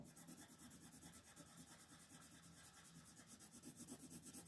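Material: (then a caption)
Paper. An orange colored pencil shades a thin paper coloring page resting on a table in quick, repeated back-and-forth strokes. The result is a steady, soft, bright scratching rasp that pulses with each stroke and never stops.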